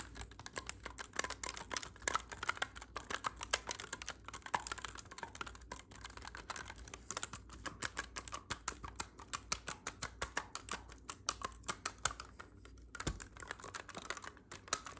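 Fingertips tap and press the silver metal keys of a hollow black clarinet, making dozens of rapid, dry clicks and soft clacks. The taps are short and bright with almost no ring, over a faint steady low hum.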